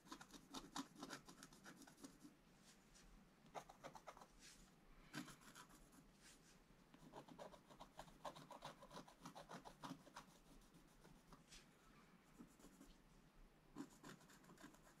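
A wooden stylus scratches strokes into a black coated scratch-art card lying as a flat, thin sheet on a table. The sound is quiet, dry and raspy, with short bursts of bright scratching separated by brief pauses and no ringing after each stroke.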